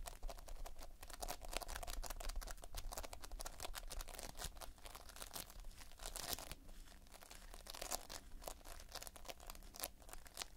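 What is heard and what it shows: Thumb and fingers pinch and squeeze the edge of a mass of multicolored Playfoam, foam beads held in a sticky binder. Dense, rapid crackling and crinkling pops, like fine tearing, sit over a steady low rumble, with a midrange tone around 680 Hz and bright clicks throughout.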